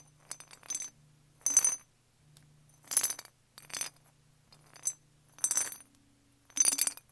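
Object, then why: Small glazed ceramic jar with lid. A small hollow brown glazed ceramic jar with a cream and green lid is held and turned in the hand while fingernails tap it. The sound is quick bursts of bright, clicky clinks with almost no ring, separated by short pauses over a faint low hum.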